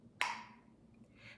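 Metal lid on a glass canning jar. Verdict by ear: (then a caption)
Sealed. A metal lid on a glass jar of pressure-canned chicken, cooling on a towel on the countertop, pulls down and seals with a single sharp ping. The bright, high metallic ping centers near 1 kHz and dies away quickly, signaling a good seal.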